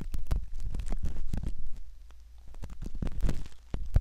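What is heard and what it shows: A thin, curved metal ear pick scratches around the ear canal opening of a soft silicone ear model, likely the ear of a binaural microphone. Close, muffled scraping and rubbing mixes with quick crackling ticks, nearly all of it deep and low. The scratching eases into a quieter stretch midway, then picks back up with a few sharper scrapes.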